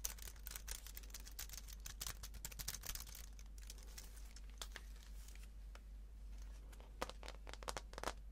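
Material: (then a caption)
Aluminum, plastic. A slim wireless keyboard with white plastic keys on an aluminum body is held in the hand while fingers tap the keys, then it is turned over so fingernails tap and scratch the aluminum underside. Dense, quick, bright clicks and crinkly scratching run throughout over a steady low hum, with a few sharper taps near the end.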